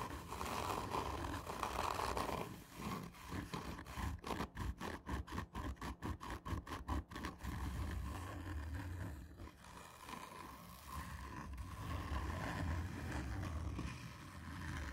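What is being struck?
Cardboard tube.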